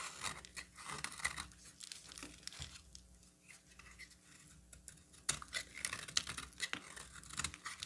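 A metal box-cutter blade shaves the flat face of a solid cream bar of soap, peeling off fine white shavings. The sound is a run of short, bright, crisp scraping and crackling strokes. It quiets through the middle and then turns sharper and louder near the end.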